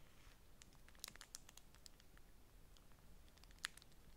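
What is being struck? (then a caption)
Beeswax-coated cotton wrap. A folded, thin beeswax-coated cotton food wrap is pressed against a stack of wraps while long nails scratch and crinkle the waxy fabric. Quiet, sharp, bright crackles and ticks cut off instantly over a low rumbling background, with the strongest snaps just after one second and again near the end.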